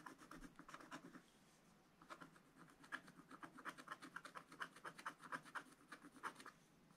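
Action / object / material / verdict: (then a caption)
scrape / scratch-art paper page with wooden stylus / coated paper / none. A wooden stylus scratches lines into a flat black-coated scratch-art page in a spiral book, giving quiet, dry rasping strokes. The short scratches repeat in an irregular rhythm, with a brief pause near the middle before a denser run of crisp strokes.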